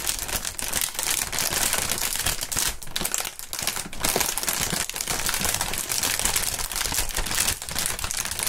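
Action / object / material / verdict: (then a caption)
scrape / polyethylene air-cushion packaging film / plastic / none. A long strip of clear, printed polyethylene air-pillow packaging film is twisted and crinkled by both gloved hands. The result is a dense, continuous crackle of bright, crisp crinkling at a steady level, with small dips between handfuls.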